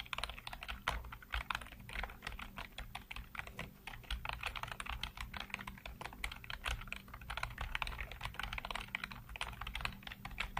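Fingertips type rapidly across a full-size black plastic computer keyboard with hollow keycaps, heard close up. A dense, continuous stream of short, sharp key clicks with a bright edge rises over a steady low hum throughout.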